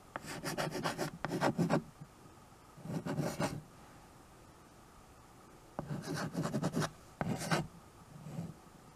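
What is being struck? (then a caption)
Chalk on a painted chalkboard. A white chalk stick writes and scratches across the dark painted surface of a small tabletop chalkboard in a wood-look frame. Five bursts of dry, raspy scraping strokes come with quiet pauses between them, each stroke leaving a bright, gritty texture over a low rubbing body.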